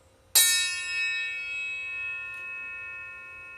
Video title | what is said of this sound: Calculating tones from a struck aluminum bar | you can hear one tone that goes on for a long time a very high tone you could hear a couple different tones in there